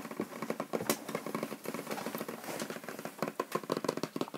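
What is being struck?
Small cardboard box.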